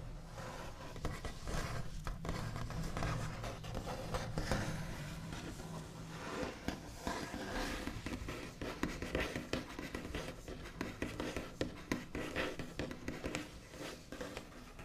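The backs of the nails of both hands make fast, scratchy tapping on a large, flat, solid wooden tabletop with a smooth white finish. The quiet, dense patter of crisp clicks and scrapes rides over a soft low hum. Each tap dies away almost at once.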